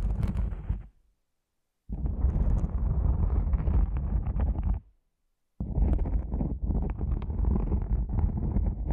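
Long nails and fingertips scratch and rub the top of a black, cylindrical nylon fabric lens pouch. Three bursts of dense, low, rumbling scratching are split by two short silences, with a few faint bright ticks over the heavy bass.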